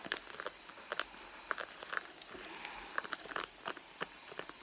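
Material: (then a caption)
Leather. Long blue nails scratch and rub the surface of a red soft leather handbag, a hollow padded bag lying on its side on a mat, while both hands rest flat and the wrists, wearing bracelets, stay fairly still. The result is a quiet, crisp series of short scratchy ticks and soft rubbing, bright and papery, with almost no low end.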